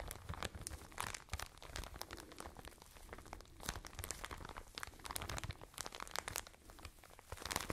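A full, soft, medium-size plastic bag of cotton wool is crinkled and squeezed with fingers and nails close to the microphone. A steady stream of dense, crackling crinkles and sharp bright snaps rides over a soft low rustle, swelling and easing throughout.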